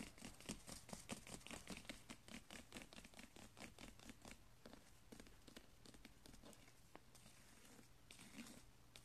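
Fingertips scratch and rub along a flat braided woven straw strip with pink and blue ribbon binding, resting on carpet. Dense, dry crinkling and crackling scratches come in quick, uneven bursts, loudest in the first few seconds before easing into softer, steadier rubbing over a faint low hum.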